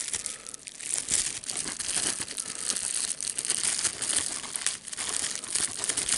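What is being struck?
Plastic bubble wrap sheet.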